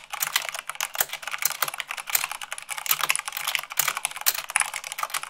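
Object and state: Mechanical keyboard being typed on.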